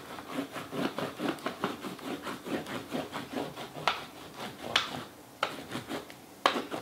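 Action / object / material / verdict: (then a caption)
scrape / wax crayon on a paper sheet over a plastic rubbing plate / paper, plastic / none. The side of a wax crayon is rubbed back and forth across a sheet of paper held in a small purple-and-teal plastic Fashion Plates frame over a raised plastic relief plate, which lies flat on a dark towel and is steadied by one hand, bringing out the relief. It makes a steady run of dry, scratchy rubbing strokes with a bright rasp, broken near the end by a few sharper, quick clicks.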